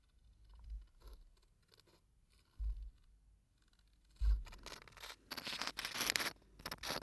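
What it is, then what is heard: Aluminium screw cap on a sand-filled glass bottle. Fingertips and nails scratch and rub the ridged aluminium screw cap of a small glass bottle full of sand. Quiet, dry scraping and ticking comes first, broken by a couple of dull low thumps. The scratching then turns louder, denser and brighter toward the end.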